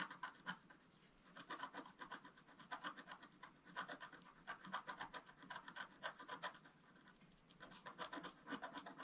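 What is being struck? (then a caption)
Black-coated scratch-art paper scratched with a wooden stylus. A wooden stylus scratches a flat, black-coated scratch-art paper sheet, working on the stockings in the picture. Quick, rasping strokes sound in rapid bursts, with bright, dry scraping and very little low end. The bursts come in two runs separated by brief quiet pauses.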